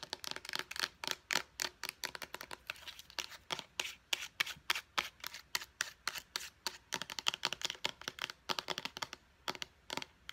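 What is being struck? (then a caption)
Plastic pump bottle. Long blue acrylic nails tap and scratch fast on a small, hollow white plastic pump bottle. About fifty crisp, bright clicks come with almost no low end and die away almost instantly, with a soft scratchy hiss between them.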